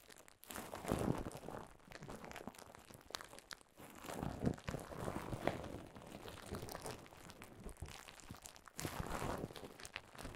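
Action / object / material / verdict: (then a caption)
scrape / plastic bubble wrap / plastic / none. Clear plastic bubble wrap stretched over a microphone is squeezed and crinkled with fingers. It gives a dense, continuous crackle with a soft low-mid body and little bright hiss, swelling into louder bursts near the start, the middle and the end.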